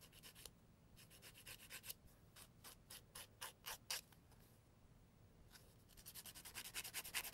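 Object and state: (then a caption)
Emery board filing a fingernail. A thin, flat, solid brown-grit emery board is held against the nail edge of one hand and filed in short strokes. Bright, dry rasping bursts come in quick runs, pause briefly in the middle, then return in a faster, louder series at the end.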